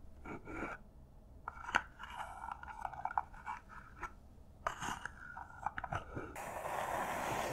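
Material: Cardboard.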